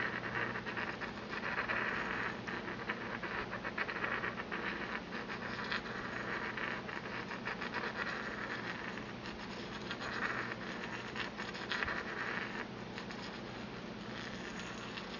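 A porcelain pestle is ground around the bottom of a small, empty white porcelain mortar held in the palm. It makes a steady, gritty scraping with a bright ring around 1.8 kHz that swells and fades as the pestle circles.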